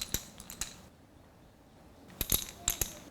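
A child shakes a small red shaker box and then a small blue one, with unknown contents, to test whether they make the same sound. Each gives a short burst of bright, clicking rattles, separated by a quiet pause. The two boxes sound equally loud, a correct match.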